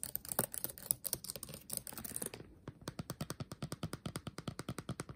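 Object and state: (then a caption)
Laptop keyboard with plastic keys. Fingertips tap fast on the upper keys of a backlit laptop keyboard with black plastic keys set in a metal body. A dense, rapid flurry of bright plastic clicks gives way after about two and a half seconds to a steadier run of separate, short, dry taps.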